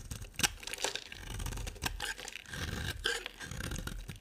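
A utility knife blade carves and scrapes a solid, hand-sized beige dry soap bar with an embossed logo. The result is a run of bright, crunchy scraping and shaving sounds with sharp crackles and soft, brief strokes between them.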